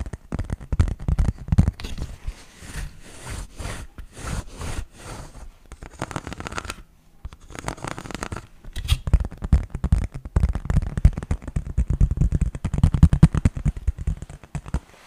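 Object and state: Plastic toy brick baseplate.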